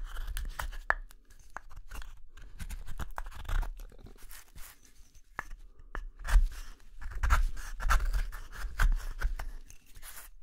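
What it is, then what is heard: Wooden spoon blank being carved. A small gouge scrapes the hollow interior of a wooden spoon blank's bowl, held in the palm, in short strokes. Crisp, crunchy scrapes with bright, sharp edges come at an uneven pace, roughly one per second, over a soft low rumble of handling.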